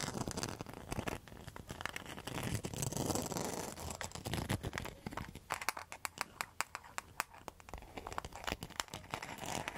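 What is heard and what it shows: Long metal nail tips scratch across a round, flat coaster with a woven rattan rim and a mosaic centre, held close to the mic. Dense, crinkly scraping fills the first half. It gives way to a rapid run of sharp, bright clicks and ticks over a low rumble.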